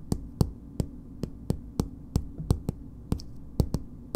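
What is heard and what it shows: Long nails tap and scratch a filled green plastic BB cream squeeze tube with a purple cap. About fourteen short, dry, separate clicks sound at an uneven, slow pace, each with a bright tick on top and a dull low body. Faint scratchy rustling fills the gaps between them.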